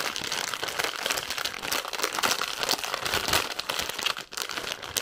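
A large, full, clear-and-white plastic bag of big marshmallows is held in both hands and squeezed and crinkled with long painted nails and fingertips. The result is a dense, continuous, bright crackling rustle with almost no low end, briefly dipping quiet just past four seconds before the crinkling resumes.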